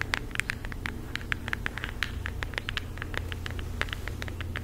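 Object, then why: Cardboard eyeshadow palette. Long acrylic nails tap rapidly on a flat floral cardboard eyeshadow palette held close to the face and mic. Each tap is a short, dry click centered near 2 kHz with a bright edge, stopping almost instantly, over a steady low hum.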